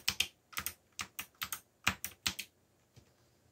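Fingertips type on a backlit black plastic mechanical keyboard's plastic keys, producing twelve quick, bright clacks that mostly come in close pairs. A faint final tap follows near the end, with each keystroke dying away almost instantly.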